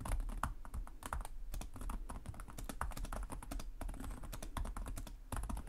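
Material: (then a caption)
Plastic. Fingertips of both hands tap rapidly on the low-profile plastic chiclet keys of a black laptop with a hollow body, typing continuously. Quick overlapping clicks, each with a bright tick over a dull low thump, keep up a quiet, steady patter with no pauses.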